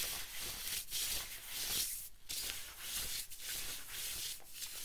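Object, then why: Nylon windbreaker jacket. Fingertips and nails scratch and rub a worn yellow and black camo-print synthetic nylon/polyester zip-up windbreaker jacket at the shoulder and chest. A bright, hissy rustle continues throughout, swelling and fading in loosely repeating strokes with brief dips between them.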